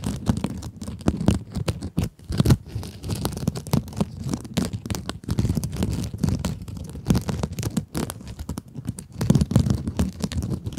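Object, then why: Mesh-covered scrub sponge. Long acrylic nails scratch a small pink scrub sponge with a glittery mesh cover, held close to the microphones. A dense run of rough, crackling scrapes keeps going without a pause, heavy in the low end with muffled rasping bursts that swell and fade.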